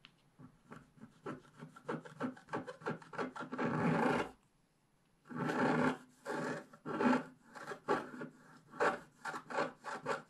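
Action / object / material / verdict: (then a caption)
scrape / black-coated scratch-art paper scraped with a wooden stick / coated paper / none. A wooden stick scratches the lower leaves drawn on a black-coated scratch-art paper page, which is held flat by hand. Quick, dry scratching strokes come in a loose rhythm, broken by longer continuous scrapes with a brief silence between them. The scratches are rough and mid-pitched with some bright hiss.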